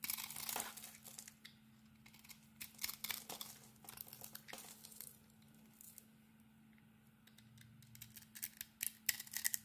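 A utility-knife blade shaves thin curls off the face of a solid rectangular bar of soap with a glittery pink embossed coating. The clip is a quiet series of short, bright scraping and crackling strokes in irregular bursts, separated by brief pauses, over a faint steady low hum.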